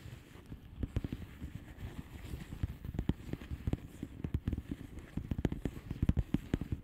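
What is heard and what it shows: Long fingernails of both hands tap a flat blue plastic bubble wrap padded envelope with air-filled bubbles. Quick, uneven, muffled taps sound as dull, low thumps with little brightness. Each tap dies away almost at once over a soft background.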